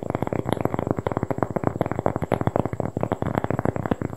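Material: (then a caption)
Cork. A large, thin, flat round cork board is held close to the microphone and tapped and scratched quickly with fingertips and long painted nails. The result is a rapid, uneven patter of dry, muffled taps with a soft scratchy texture, each tap dying away almost instantly.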